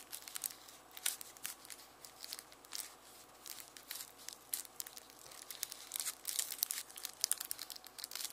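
Fingertips rub and crinkle the dry, papery outer skin of a whole, solid, dry yellow onion held in one hand at the left edge of a red mesh bag of onions. It makes quiet, bright, crisp crackling and tearing rustles in rapid, uneven bursts with no low end, each snap dying away instantly.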